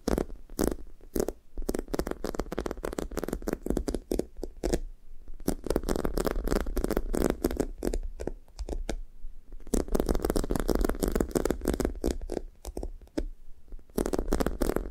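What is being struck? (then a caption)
Foam squishy toy with sticky top. Long nails tap and scratch a thick sticky foam squishy toast toy with a light-blue sticky foam top on a brown foam base, its surface soft, solid and sticky. The result is a dense run of quick, muffled taps and tacky scratching, mostly low and warm with little brightness, broken by short quiet pauses.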